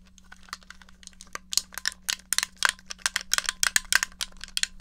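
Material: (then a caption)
Plastic. Fingertips and painted nails tap the shell and press the buttons of a small, rectangular, grey, hollow plastic NES game controller held in one hand. The result is a rapid, uneven series of sharp, bright, dry plastic clicks and taps that stop instantly with no ring, over a faint steady low hum.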